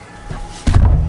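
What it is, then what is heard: Baked-through damper bread. The bottom of a freshly baked damper loaf with a crusty outside is knocked, giving a dull, low thud with almost no ring. The dull sound shows the loaf is properly cooked through, expected to be fluffy inside and not yet cut.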